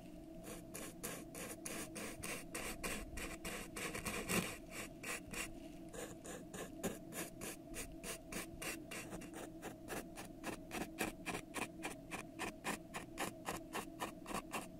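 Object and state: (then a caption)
Plastic cup. A thin brush held in a long-nailed hand scratches and rubs the ribbed side of a pink ribbed disposable plastic cup, hollow and empty, held on the microphone. The result is quiet, rhythmic, raspy strokes, about three to four per second, each a short bright scrape over a steady hollow low-mid hum.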